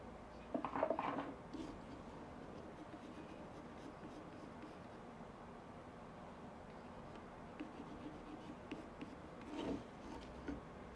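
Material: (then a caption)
Briar wood. A small carved briar wood tobacco pipe with a hollow round bowl and a dark stem rests on a light wooden stand while a hand steadies it and a pencil is drawn and scratched across the bowl's wooden surface. Light, dry scratching comes in soft bursts, louder near the start and again near the end, over a quiet background hiss.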